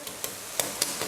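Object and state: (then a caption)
Crispy fried chicken crust. Light knocks on the golden crust of air-fried Korean-style fried chicken wings give five short, dry, bright taps with almost no low end and a quick fade. The crust sounds crisp and hard, showing it is crispy.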